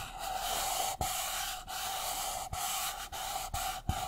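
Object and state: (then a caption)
Paper cup being scratched and tapped. Fingertips and nails scratch and tap the sides and base of an empty, hollow, white disposable paper cup held upside down. A steady, bright, hissy scratching runs throughout, broken by six short, low taps.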